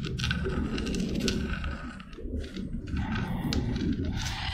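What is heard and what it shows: Long red nails rub and scratch a small, hollow, white spiky spiral seashell with brown spots. The result is a steady, dense rasping scrape with a low rumble underneath and brighter crackly scratches on top. It briefly softens around the two-second mark before the scratching picks up again.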